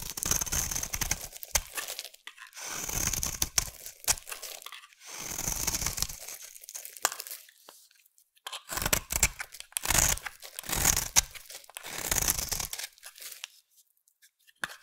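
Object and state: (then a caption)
Bar of soap scraped with a blade. A utility knife blade scrapes a solid pink rectangular bar of soap held in the hand. Bright, crunchy tearing and crinkling strokes come in bursts separated by short quiet gaps.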